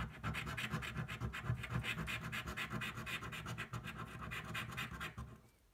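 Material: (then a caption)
Paper. A coin scratches the scratch-off coating of a thin paper lottery card lying flat on a white table, held down by one hand. Quick, rhythmic back-and-forth strokes make a raspy, bright scraping sound with a low rumbling body, before it fades out at the end.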